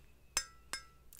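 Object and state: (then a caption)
Metal decorative peacock figurine. A heavy, blinged-up decorative metal peacock figurine brought back from India is struck with scissors. Two sharp, bright metallic clinks ring out with quick-fading high overtones, followed by a softer tap at the end. The clinking marks it as metal.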